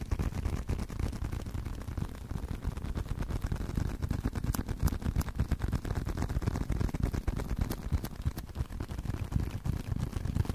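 Continuous fingertip-style tapping on a leather card wallet makes a rapid, uneven stream of soft, dull thuds. The taps are low and muffled with almost no ring, with a few brighter clicks now and then.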